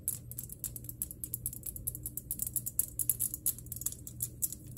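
Long nails tap quickly and steadily on a glass electric globe, producing bright, short clicks over a low steady hum. The taps are many and closely spaced, each dying away almost at once.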